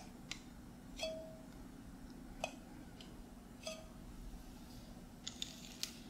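A small, filled glass mason jar with a metal screw lid is held in one hand while the fingertips of the other hand tap the lid. Eight light, sparse taps give short, bright clicks, some with a brief ring near 630 Hz, over a steady low hum.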